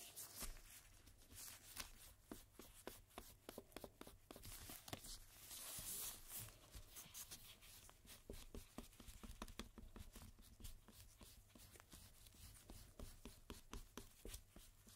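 A cotton swab, held in a gloved hand, rubs and scrubs the surface of a single thin paper playing card lying face-up on a dark table while the other gloved hand holds it down. The result is a quiet run of short, dry, bright scratchy strokes, each dying away almost instantly, over a steady low hum.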